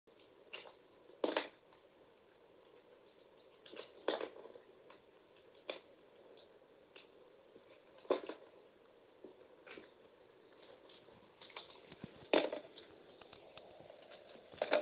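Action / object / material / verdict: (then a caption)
scrape / bar soap scraped with a metal blade / soap / none. A metal utility knife blade scrapes and shaves thin curls off a hand-sized solid bar of purple-coated soap with a pink interior, held in one hand. Soft, steady scraping runs throughout, with several louder, sharp shaving strokes standing out at intervals, each with a dry, slightly bright texture that stops quickly.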